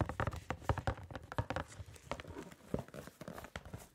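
A small, hollow, printed cardboard box of gloves is held against the side of the microphone and tapped quickly with gloved fingertips. The result is a fast, uneven run of short, dry, hollow thuds, heavy in the low end, with little high-frequency content and almost no ring after each tap.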